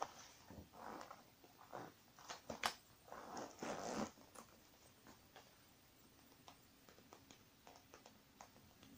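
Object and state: Faux leather makeup bag, zipped and tapped.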